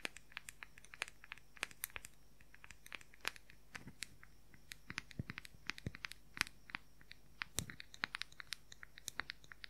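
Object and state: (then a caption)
Plastic powder compact. Fingernails rapidly tap and scratch the lid of a round, white, palm-sized, hollow plastic makeup powder compact. Dozens of quick, sharp, bright clicks come in an irregular, fast rhythm, each dying away almost instantly, with faint scratchy crinkling between them. The overall level stays quiet and close.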